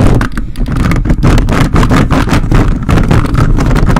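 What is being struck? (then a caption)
Metal mesh microphone grille scratched with a plastic grabber hand. The grey plastic fingers of a toy robot grabber hand, held by its orange handle, aggressively scratch the dark metal mesh grille of a large red desktop condenser microphone with a hollow capsule head. The result is a dense, continuous run of rough, scraping rustles heavy in low, boomy rumble, with quick bursts that die away almost instantly.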